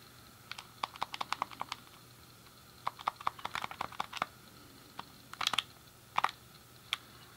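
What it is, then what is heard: Plastic game controller buttons clicking. A thumb clicks the D-pad and fingers press the buttons of a hand-sized, hollow, grey plastic SNES game controller. The result is quick bursts of sharp, dry, bright plastic clicks. Each click stops almost instantly, with quiet pauses between the clusters.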